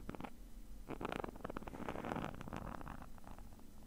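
Fingernails scratch the woven surface of a small, hollow black nylon mesh zip bag, producing a run of quick, dry scratching strokes with rough, broadband texture over a low, steady hum. The scratching starts sparse, then thickens into a denser rasp in the middle before easing off as the hand moves toward the edge of the bag.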